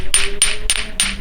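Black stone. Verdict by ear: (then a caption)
Dense. A black suiseki stone, a crow-black ohseok like a black Go stone, is tapped four times to show its quality. Each tap gives a bright, short ring with a high tone rather than a dull stone knock. This marks it as a dense, good-quality stone.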